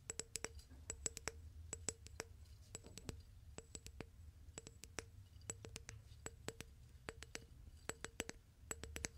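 Fingertips and nails tap and grip the wall of a clear, medium-sized, hollow glass vase holding dried plant stems. Many quick, light taps sound as sharp, bright clicks in irregular bursts, each with a faint tone near 500 Hz that dies away almost instantly. A low rumble sits underneath throughout.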